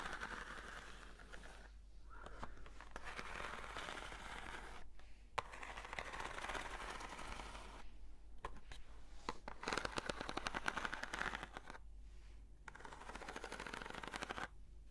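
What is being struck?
Corrugated cardboard box.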